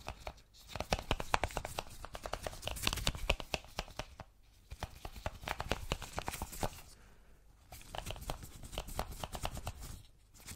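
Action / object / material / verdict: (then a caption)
tap / small cardboard box / cardboard / none. Gloved fingers tap and scratch a small, hollow white cardboard Apple product box while turning it in the hands. Rapid, dry clicks and scratchy rustles come in three dense bursts, separated by brief quieter pauses.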